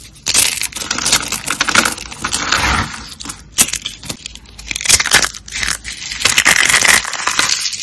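Purple and green dry soap flakes, solid and brittle, are crushed between fingers and pressed by hand. Dense, bright crunching and crackling comes in uneven bursts, with sharp snaps breaking through a steady gritty crumble.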